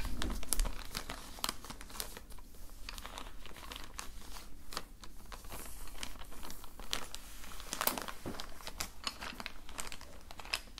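Fingertips grip and rub a clear plastic zip-lock bag holding a set of wooden colored pencils and a red sharpener, crinkling the plastic. A dense run of quick, dry crackles with bright, sharp edges sits over a steady low rumble, with louder bursts near the start and around the eight-second mark. Each crackle dies away almost instantly.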